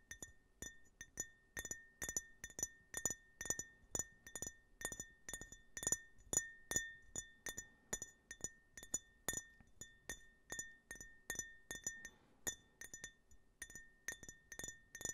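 Fingernails tap the outer wall of a small, empty glass tumbler with a US flag print, held at an angle close to the microphone. The result is a quick, irregular run of bright, high clinks, each with a short ring and a faint steady tone near 1.8 kHz.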